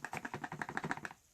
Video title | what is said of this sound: First hand look at the new ICOtec Outlaw | this battery pack that was in there it'll rattle